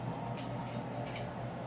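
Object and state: Nothing is struck.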